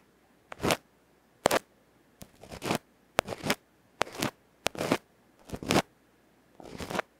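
A bamboo ear pick slowly scratches the black felt face of a small hollow aluminium electret microphone capsule held in the fingertips. Eight separate crackly, rasping scratch bursts are heard, several opening with a sharp click. Quiet pauses fall between the bursts.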